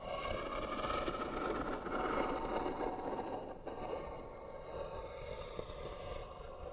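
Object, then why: Wooden box. Short fingernails scratch the lid of a hollow white wooden box, making a continuous rough, rasping scrape centered in the mid range with a hollow woody tone. The scratching stays steady and dense, dips briefly near the middle, then continues slightly softer to the end.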